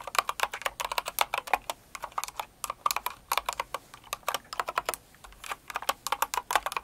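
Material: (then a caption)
Plastic. Both hands with long acrylic nails type quickly on a Cinnamoroll-themed kawaii mechanical keyboard with plastic keycaps. A steady stream of sharp, dry clicks and clacks comes in uneven bursts with brief pauses. The clicks have a bright, tappy tone centered around 1 kHz, stop almost instantly, and carry no low rumble.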